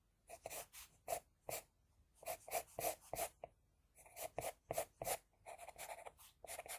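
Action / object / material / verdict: scrape / graphite pencil on a sheet of drawing paper / paper / none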